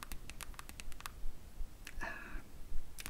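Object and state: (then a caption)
Hardcover comic book. Long nails tap and click on the printed cardboard back cover of a green hardcover comic album lying on top of another book. Quick, irregular, sharp clicks come in bursts, broken by a brief tonal scrape partway through.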